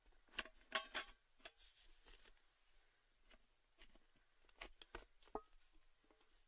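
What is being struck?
Metal cylindrical tin with lid.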